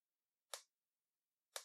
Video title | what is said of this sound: Pentax SL: A stylish 35mm SLR for beginners | it sounds hollow. Just sort of has the wacky sound. Just not as heavily made.